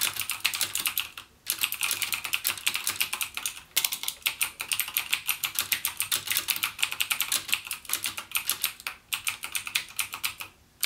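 Fingertips type continuously on a backlit plastic Cherry MX Blue mechanical gaming keyboard with clicky blue switches, the same keyboard throughout. Rapid, bright clicky key taps come in steady bursts with a few brief pauses, each click short and dry with no bass.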